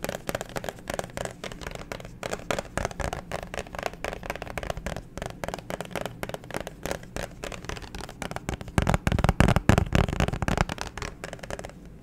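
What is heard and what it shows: Fingernails tap and scratch a thin, hollow clear plastic phone case with a black grip disc, which is then held up. Rapid, irregular dry clicks and soft hollow knocks run throughout. A louder, denser cluster of taps comes near the end before the sound eases off.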